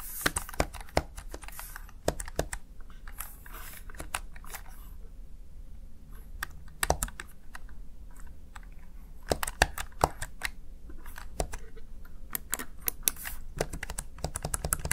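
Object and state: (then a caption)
Plastic gaming keypad. Fingertips tap and press the backlit keys of a Razer Tartarus Chroma plastic gaming keypad, producing a steady run of sharp, dry clicks with very short decay over a low, constant background hum. Bursts of quick keystrokes alternate with brief pauses, and some presses land noticeably louder than others.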